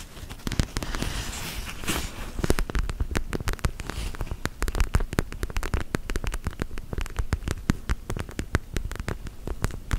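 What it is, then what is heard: Gel bead eye mask. A plastic eye mask filled with squishy purple gel beads (orbeez) is tapped and squeezed with long gel nails. The result is a dense stream of sharp, crisp clicks over a soft, low, squishy rumble.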